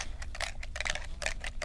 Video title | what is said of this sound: 7-6-22 Tim Holtz Series: Distress Uncharted Mariner with Teresa, Part 2 | can you hear that little bead in there